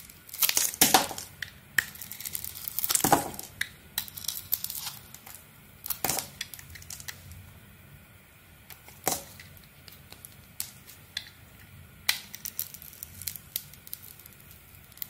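A metal blade scrapes and carves a glossy maroon coating off a solid light-blue soap bar held in the hand. Bright, crackly scraping and crisp chipping sounds come in irregular bursts, with louder sweeps near the start and quieter scattered clicks and scratches between.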